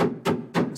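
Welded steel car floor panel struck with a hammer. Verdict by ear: Solid.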